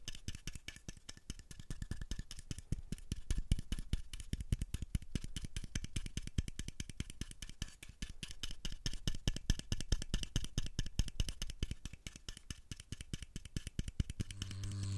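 A small, hollow, shallow, empty square bamboo tray is held in one hand and tapped quickly with the fingertips and nails of the other on its raised edges and flat base. The result is a fast, uneven stream of short, dry taps, with low hollow thumps under bright clicking, continuing steadily for the whole clip.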